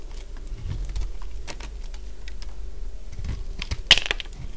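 A partly carved, solid cream-coloured bar of dry soap is cut into curls with a utility blade. Short, dry, crisp crunches and scrapes sound over a low rumble, with one sharper, brighter snap near the end.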